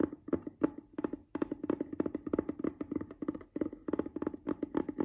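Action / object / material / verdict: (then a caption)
tap / small hard plastic case / plastic / none. A closed, hollow, palm-sized cream-white rigid plastic case lying on a fabric bed cover is tapped and scratched with the fingertips and nails of one hand. It gives a quick, dense run of short, dry clicks and taps with a hollow resonance around 300 Hz and almost no ring.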